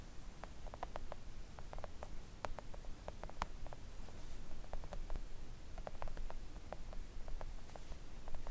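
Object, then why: Silicone nail art mat tapped with acrylic nail tips. Long acrylic nail tips tap gently on a thin, solid, flat pink silicone nail art mat. The result is a quiet, irregular run of soft, quick clicks with short, bright ticks that die away almost instantly, set over a steady low rumble.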